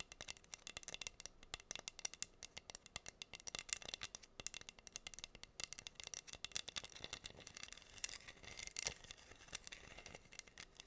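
Long nails scratch across the pink acrylic rhinestones covering a flat, solid wooden heart board, producing a dense, fast stream of tiny crisp clicks and rattly scrapes. The sound is quiet and bright, almost all high-pitched sparkle with very little low end, and each tick stops instantly with no ring.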